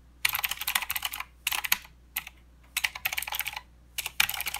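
Fingertips of both hands type on a plastic mechanical keyboard with clicky blue switches and plastic keycaps. Bursts of fast, bright, crisp clicks come in short runs separated by brief pauses, each keystroke sharp and quickly damped, with almost no low end.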